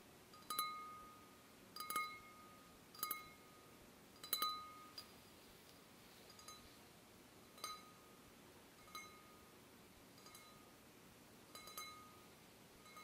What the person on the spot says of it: Wine glass (sounds like a musical instrument!)